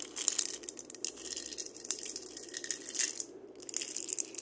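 Fingers scratch and rub the body and wooden handle of a single hollow, painted dried-gourd maraca as it is rotated. The result is a quiet, dry, crackling scrape with dense, bright, high clicks and rustles, plus a soft, steady lower hum underneath.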